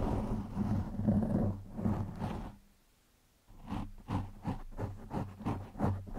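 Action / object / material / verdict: scrape / foam microphone windscreen / foam / none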